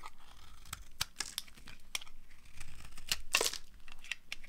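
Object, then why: Bar of soap. A small metal knife blade carves and scrapes a palm-sized solid pink bar of dry soap held in a hand with long dark nails, peeling curls and flakes onto a pile of colorful soap shavings. Dry, crisp crunching and scraping sounds come in quick, bright bursts over a soft background hiss, with a louder stretch of crackling near the end.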